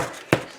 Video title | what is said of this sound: Tomato Herb Bread! Thanks Gloria! | if it sounds hollow, which that does, then it is done